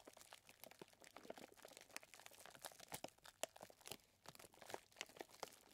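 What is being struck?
Plastic zip bag filled with small chocolate chips.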